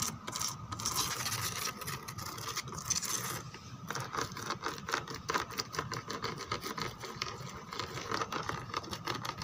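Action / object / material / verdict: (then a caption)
scrape / textured plastic chair backrest / plastic / none. Long nails scratch and rub across the rose and lattice relief of a white plastic chair backrest. The result is a dense, continuous bright rasping of quick strokes that blur together, with a steady tone near 1.4 kHz running through it.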